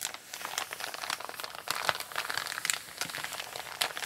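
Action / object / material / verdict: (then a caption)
scrape / kraft paper mailer bag / paper / none. Fingertips and long painted nails press, rub and scratch the crinkled surface of a large, flat, empty brown kraft paper Amazon mailer with a shipping label, lying on a table. The result is a steady stream of dry, bright crinkling and crackling with quick scratchy bursts and almost no low end.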